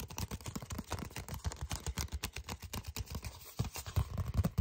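A flat red paper envelope with a flap is tapped and scratched with fingertips and short nails. The result is a quick, steady run of soft, dull, low taps with a faint papery scratch, each dying out almost at once. The taps grow slightly louder toward the end.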